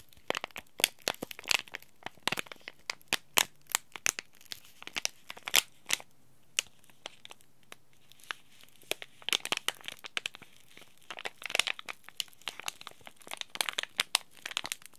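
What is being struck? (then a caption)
Laminated plastic-foil tea bag packet. A small, sealed, green laminated plastic-foil tea bag packet is scratched with a thumb and then crinkled by fingers. The result is a dense, quiet stream of sharp, bright crackles and scratchy rustles that stop instantly with no ring, with a faint low hum underneath.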